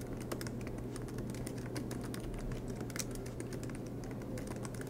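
Both hands type continuously with their fingertips on the black plastic low-profile keys of a MacBook Pro laptop, its silver aluminum body resting on a green desk mat. The result is a rapid, steady stream of soft, bright key taps over a constant low hum.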